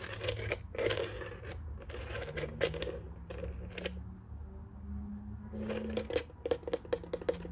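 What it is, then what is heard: Plastic desk telephone base tapped. Fingertips tap on the underside of a white, hollow plastic desk telephone base, producing a series of quick, hollow clicks with a knocking tone around 480 Hz and brief bright edges. The taps come in loose clusters with a quieter pause in the middle, while faint, steady low tones, possibly music, sit underneath.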